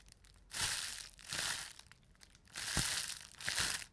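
A bunched sheet of clear plastic bubble wrap is crushed in the fist four times, popping many bubbles at once with bright, crackling crinkles. Each squeeze swells into a dense burst of snaps and plastic rustle that fades out before the next, with quiet pauses in between.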